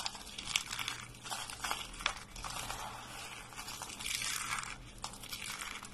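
White dry soap shavings and flakes are gathered and crushed between both hands and fingertips. A steady, bright, crinkly crunch and crumble rises and falls, with a few sharper crackling snaps over a faint low hum.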